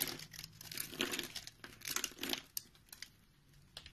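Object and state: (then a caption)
Soap bar being carved. A utility knife blade cuts a grid into a round, solid orange-and-white soap bar held in the palm, then scrapes it into small crumbly cubes. Dry, bright crinkling scrapes come in uneven bursts, with sharp little ticks as the blade catches and the pieces crumble away.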